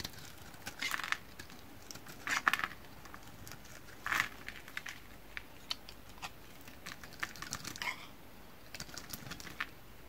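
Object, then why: Bar of soap scraped with a knife blade. A solid yellow bar of soap held in the hand is shaved and scraped with a metal utility knife blade, making curls and flakes pile up. Dry, crisp scraping bursts with short clicky strokes come in uneven clusters over a quiet background, strongest around 1, 2.5 and 4 seconds.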